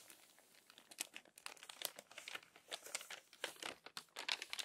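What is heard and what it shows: Long-nailed hands smooth the crinkled pages of an open, crumpled paper magazine and turn one page. The result is a quiet, dense run of dry, crisp crackles and crinkles, all bright and high with no low end, each snap dying away almost instantly.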